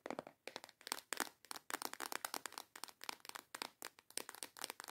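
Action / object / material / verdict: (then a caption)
tap / small clear plastic box of false nail tips / plastic / none. Long yellow acrylic nails tap quickly on a small transparent plastic box with clasps, full of false nail tips. The result is a rapid, uneven stream of dry, sharp clicks and light rattles that are bright and crisp, with no low end and almost no ring after each tap.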